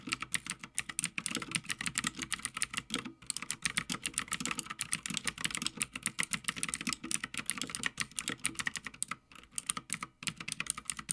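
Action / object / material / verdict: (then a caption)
tap / mechanical keyboard, plastic keycaps on metal plate / plastic / none. Fingertips of both hands type continuously on a full-size backlit Havit mechanical gaming keyboard with plastic keycaps on a metal plate. The result is a steady stream of fast, bright, sharp clacks that stop almost instantly. There is a brief pause around the three-second mark and a quieter lull near the end before the typing resumes.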